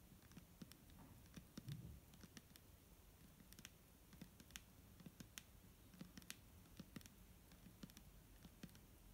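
A clear plastic micellar water bottle filled with liquid is held in the hand and tapped with fingernails. Quick, light, irregular clicks sound out at a steady quiet level, each a short bright tick that dies away almost at once over a low, dull hum.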